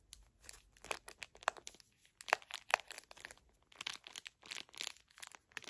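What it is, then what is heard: Plastic-wrapped tissue pack crinkled. Fingers with long nails crinkle the thin plastic film wrapper of a full, small pocket facial tissue pack. Quiet, irregular bursts of bright crackling follow one another in quick succession, with a few sharper snaps standing out, and there is almost no low end.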